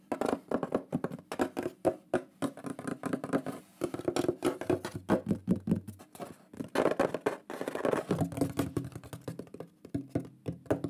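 A thin, shield-shaped plaque of solid wood with a lion drawing burned into it is held upright in both hands and tapped quickly with the fingertips and nails. The result is a dense, continuous patter of short, dry, woody knocks that die away almost instantly, with most of the sound in the low and middle range and little brightness.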